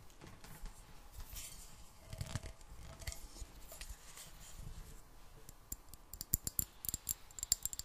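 A clear, hollow glass jar partly filled with water, with a metal screw lid, is tapped with long black nails. The first part is quiet rustling and scratching with faint low thumps. Later come sharp, bright clicks that die away almost at once.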